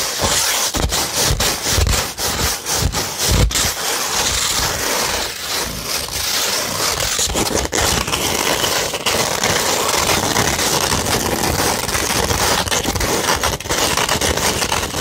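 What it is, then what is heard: 100-grit sandpaper scratched. A flat beige 100-grit sandpaper sheet is scratched with long red nails, giving a steady, bright, gritty rasping. A few soft low thumps sit under the scratching in the first few seconds, then the coarse scraping carries on evenly to the end.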